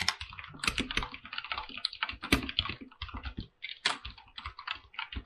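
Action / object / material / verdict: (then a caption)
tap / mechanical keyboard with PBT plastic keycaps on an aluminum body / plastic / none. Fingertips type on a full-size mechanical keyboard with white and blue PBT plastic keycaps set on a silver aluminum plate. A steady run of quick, bright clicky keystrokes is heard, each short and crisp with almost no ring. There is a brief pause near the middle before the typing resumes.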